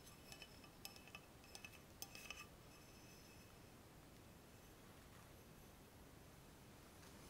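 Fingers and nails tap along a long, clear, hollow, empty glass laboratory tube adapter with frosted ground-glass joints while it is held. About ten quick, bright glassy clinks ring near 2.6 kHz over the first two and a half seconds, each fading within a fraction of a second. A faint, steady background hiss fills the rest of the clip.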